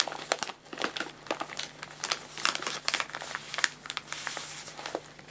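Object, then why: Paper food bag. An empty, medium-size, hollow white-and-red printed paper guinea pig food bag, folded at the top and resting on a lap, is crinkled, folded and rubbed with fingertips. A rapid series of sharp, dry, bright crackles and crinkles rises over a soft rustling bed, each snap dying away almost instantly with no ring.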